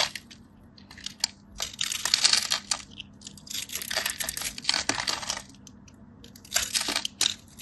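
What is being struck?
Bar of soap.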